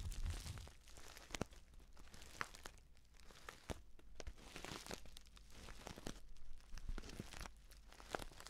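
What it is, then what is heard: Paper tea pouch. A filled, orange-printed stand-up paper tea pouch is held at the side close to the mic and squeezed and scratched with the fingers. The result is a steady, dense crinkling and crunching with a low rustle underneath and scattered sharp, dry clicks that stop instantly.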